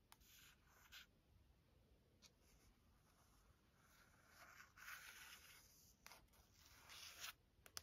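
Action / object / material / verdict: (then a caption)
scrape / softcover book with glossy paper cover / paper / none. Long acrylic nails and fingertips trace, tap and scratch across the smooth glossy printed cover of a large softcover Taschen art book lying flat on a wooden desk. Soft, bright scratching and rubbing swells and fades, broken by a few sharp, short taps on the solid stack of paper.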